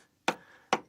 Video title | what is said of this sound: Burghley House 攀爬伟大建筑 | tap it and tap it you can hear it ringing